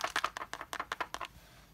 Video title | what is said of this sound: Lego Harry Potter Character Encyclopedia New Edition Review!!! | that's the sound of a minifigure inside so be sure that uh if you get one of these that it has the figure still inside